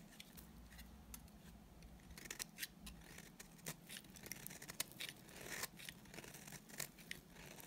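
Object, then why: Bar of soap. A solid, dry white bar of soap held in the hand is shaved with a utility knife blade. It makes a quiet run of short, bright scraping strokes over a low steady hum.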